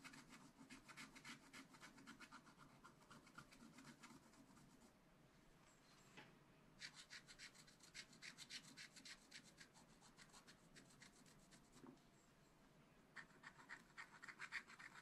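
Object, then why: Black coated scratch art paper scratched with a wooden stylus. A wooden stylus tip scratches a black coated scratch-art paper page in a small spiral pad with short, quick strokes. The bright, dry scraping comes in rapid runs, with quieter pauses around 5 to 6.5 seconds and 12 to 13 seconds before the scratching resumes.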